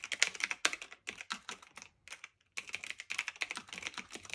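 Both hands type continuously with fingertips and medium nails, pressing and tapping the round plastic keycaps of a black, medium-sized, hollow-bodied retro typewriter-style mechanical keyboard with metal-look trim and a silver return lever, resting on a fluffy blanket. Quick, bright, clacky key clicks come in an uneven run, with a short pause just past the two-second mark before the typing resumes. Each click is sharp and dies away almost at once.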